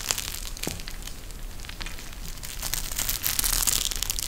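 A pink gel bead eye mask, a clear plastic shell filled with gel beads and edged with fabric trim, is bent and squeezed in both hands. It makes a steady, dense run of crushing, crinkling plastic and crackly bead clicks, bright and high with a low rumble underneath, growing slightly louder toward the end.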